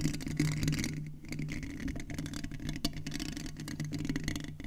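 Fingertips and nails from both hands tap and scratch the mesh grille head of a silver metal USB condenser microphone. A dense stream of soft taps, crackly scratches and bright rustles sits over a steady low hum. The sound stays close and dry, with each contact dying away almost at once.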